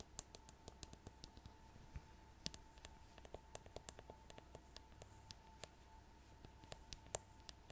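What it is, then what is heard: Rhinestone-covered plastic paddle hairbrush. Long nails tap and scratch the rhinestone-covered back of a plastic paddle hairbrush. Many quiet, sharp clicks and ticks come in an irregular stream, each ending at once, with a faint steady tone under them.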